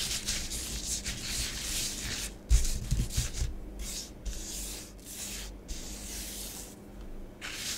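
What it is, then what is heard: Bath bomb powder scratched on a plastic tray. Long nails write letters and rub through orange bath bomb powder spread on a grey plastic tray. The result is bursts of soft, bright, gritty scratching and hissing, separated by brief pauses, with a few duller low taps in the middle.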